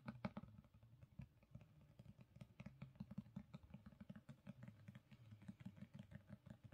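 Long pink nails tap and scratch the cover and top edge of a black, gold-foiled hardcover book lying on a carpet. The result is a quiet, steady run of quick, dull taps with scratchy texture, heavy in the low end with almost no ring after each hit.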